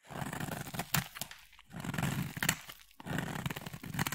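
A utility blade scrapes a solid, palm-sized, cream oval bar of soap, shaving off fine curls. Three long scraping passes, separated by short pauses, give a dry, crinkly rasp with a full low body and bright crackling edges.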